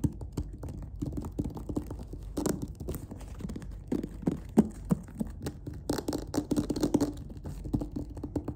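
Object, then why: Faux-leather covered clarinet case. Fingertips and nails tap and scratch across the lid of a closed, hollow black clarinet case with a faux-leather covering and white stitching, resting on a surface. The result is a steady run of soft, dull, hollow knocks and scratchy rubbing, low and muffled around 220 Hz with almost no bright content. Each tap dies away almost instantly.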